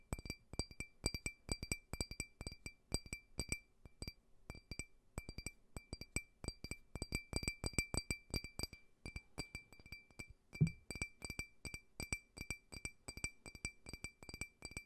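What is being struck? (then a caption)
Empty faceted glass tumbler. A small, clear, empty faceted drinking glass, held upright, is tapped rapidly with fingernails in quick, uneven bursts. Each tap gives a short, bright clink with a steady ringing tone near 2.4 kHz and higher glassy overtones, all decaying almost at once.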